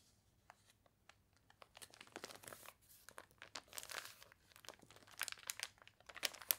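A thick, glossy paper toy catalog with water-wrinkled pages is handled as its pages are turned and long nails scratch across the crinkly paper. The result is a quiet run of dry, bright crinkling, crunching and tearing-like rustles in short bursts that grow busier toward the end, with almost no low end.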